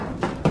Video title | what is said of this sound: Creepy Videos That’ll Have You Stay Out Of The Basement | that's not concrete that's Hollow